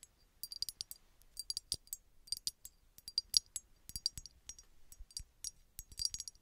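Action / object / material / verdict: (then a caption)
tap / small embossed glass bottle tapped with fingernails / glass / none. A small, hollow red embossed glass bottle that appears empty is tapped and scratched with long red nails. It makes a quick, irregular series of crisp, bright clicks and clinks with a high glassy ring that dies away almost at once, with faint scratching between the taps.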